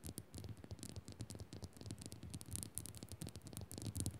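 Long nails scratch fast across a solid pink Himalayan salt crystal lamp and tap its surface. The result is a quiet, continuous run of dry scratching with a bright hiss, broken by short, dull low taps that die away almost at once.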